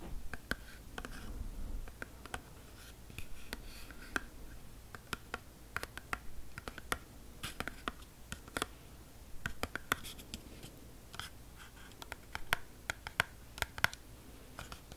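A small Glee Gum spearmint box of thin printed cardboard, hollow and apparently still holding gum, is tapped and scratched with long painted fingernails close up. Many quick, dry taps cut through a soft, steady scratching, with a hollow cardboard knock around 1.5 kHz and bright clicky edges. Each tap dies away almost instantly.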